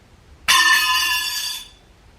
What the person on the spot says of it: I'm also going to drop it on the floor because it is metal